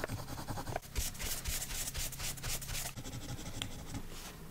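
A colored pencil held in a silver metal extender is rubbed rapidly back and forth across a thin paper page of an adult coloring book lying on a woven mat. The dense, scratchy strokes come about four per second as bright, hissy bursts over a low rumble, loudest in the middle and softening toward the end.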